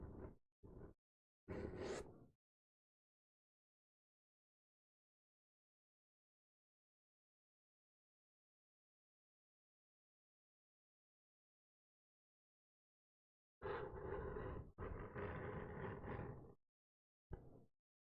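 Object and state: Book cover scratched, spine of different material.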